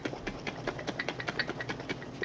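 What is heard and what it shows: A lidded glass jar half full of liquid heavy cream is shaken back and forth, making about 16 quick, rhythmic sloshes as the cream splashes against the inside of the jar. Each slosh is a short, bright splash, and the liquid is still heard moving freely inside.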